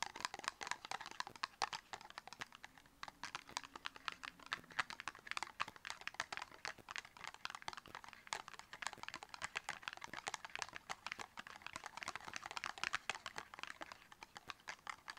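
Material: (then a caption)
Cardboard. Long red fingernails rapidly tap a small, hollow, dark purple cardboard cosmetic box a few centimeters in size, held between the fingers. The result is a dense, continuous stream of sharp, dry, bright clicks with almost no low end and no ring after each tap.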